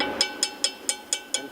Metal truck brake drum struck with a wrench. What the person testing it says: you can hear that hollow sound that means the shoes are up out of the way if you hear a dull thud you know the shoes are in the way